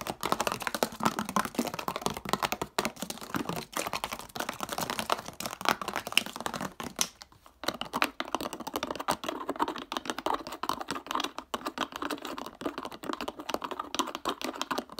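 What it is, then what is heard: Plastic bottle cap tapped and scratched. A clear, hollow, mostly empty PET plastic water bottle is held in the hands while its black plastic screw cap is twisted, tapped and scratched with fingertips and nails. The result is a rapid, dense stream of short, dry plastic clicks and bright scratching with almost no ring, broken by a brief pause around seven seconds before continuing.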